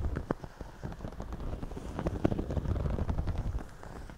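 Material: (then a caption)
Straw. Fingertips scratch and pinch the brim and crown of a white, wide-brim woven straw floppy hat worn on the head. The result is a dense, irregular run of dry, crackling scratches with a few sharper pinch clicks, all low-heavy and without any ring.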